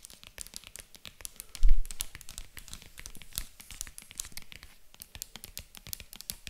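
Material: Faux leather.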